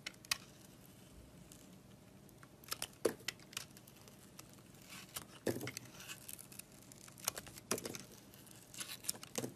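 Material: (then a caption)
Soap. A box-cutter blade scrapes the red layer off a solid red, glittery bar of soap held in the hand, exposing the pink inside. It makes quiet, dry scraping strokes with crisp, bright crackles and short sharp scratches that die away almost instantly, over a faint background hiss.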